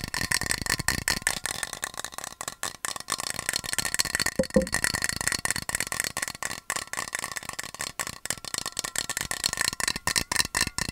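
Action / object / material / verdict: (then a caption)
tap / metal water bottle / metal / none. A yellow painted, medium-sized hollow metal water bottle with a black cap and loop handle is held by hand near the mic and tapped quickly with fingernails. The taps form a dense, rapid, bright clicking rattle with short metallic pings around 523 Hz that die away almost at once.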